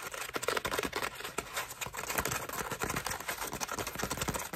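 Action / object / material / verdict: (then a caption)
scrape / foam bath loofah / foam / none. A cream foam bath loofah is squeezed, then scratched with long nails across its ruffled foam petals. The result is a dense stream of quick, crackly scratches and rustles with bright, airy texture and little low end.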